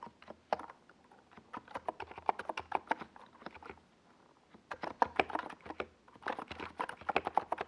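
Fingertips of both hands type across a compact 68-key NiZ Plum Atom 68 mechanical keyboard, which has a white plastic case and purple and yellow Domikey Gas Attack SA plastic keycaps and rests on a desk pad. About thirty quick, dry plastic clacks centered near 1 kHz come in two bursts, with a brief pause in the middle. Each keystroke stops almost instantly, with only faint brighter ticks above.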